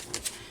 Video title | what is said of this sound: PART 2 of HUGE Hobby Lobby Haul | They're plastic, I think. Sounds like plastic.